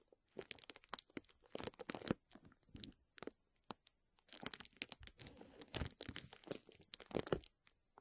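Crumpled clear plastic bubble wrap held over a microphone is scratched and squeezed with fingertips and short nails. It gives dense, close-up crinkling and crackling with sharp, dry snaps and scratchy bursts of varying loudness. There is a brief quiet pause in the middle.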